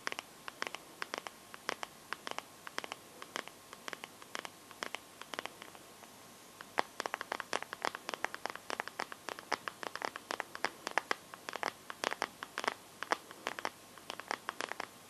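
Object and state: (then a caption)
Phone in plastic case. Long nails scratch and tap the back and edges of a Samsung phone held up in a teal, clear plastic liquid-glitter case. Rapid, sharp, bright clicks come in quick, irregular bursts over a faint hiss, each dying away instantly. A brief lull follows before the tapping grows denser and louder.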